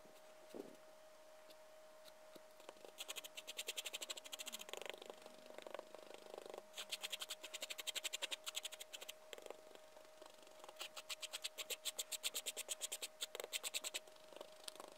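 A gloved hand spreads and scratches a pile of loose white sherbet powder on a flat white surface with a liquorice stick, making bursts of fast, crisp, gritty scratching strokes. The sound is bright and dry, with short clicks over a steady faint tone and quiet pauses between the bursts.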